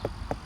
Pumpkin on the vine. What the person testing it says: if you tap on them and they sound kind of hollow which it does